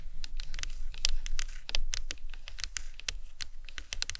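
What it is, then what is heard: Plastic anatomical skull model. The tips of long acrylic nails tap irregularly on top of a large, hollow, white plastic skull cap from an anatomical skull model resting on a towel. Each tap is a short, dry click with a bright edge that dies away almost instantly, over a soft, low background rumble.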